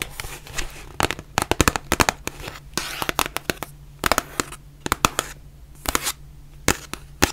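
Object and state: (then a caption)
Cardboard box tapped with nails. Long nails tap the front and sides of a white printed cardboard face mask box, producing quick, dry, sharp clicks in irregular bursts and rapid runs. Each tap is bright and short with almost no ring, over a faint steady low hum and some soft rustling between taps.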